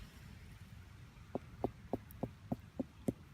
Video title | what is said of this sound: Ginger Welsh Allotments #024 - Planting out the strawberry plants and a plot update | if you tap them they should make a hollow noise, which they do